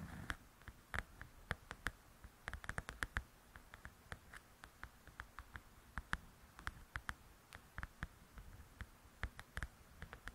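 Long acrylic nails tap with their tips on the glossy cover of a large, flat, solid paperback coloring book and scratch across it. The sound is a quiet, irregular run of short, dry clicks with a brief bright edge, separated by faint scratching. There is no ring after each tap.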